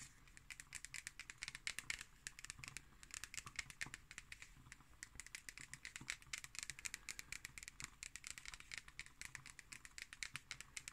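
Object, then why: Cardboard notebook cover. A black hardcover notebook with a cardboard cover is held upright while long acrylic nails scratch and tap across the cover. The result is a quiet, continuous run of many short, dry clicks and scratchy crinkles that stop almost instantly. The sound is mostly bright and high, centered around 2 kHz, with little low end.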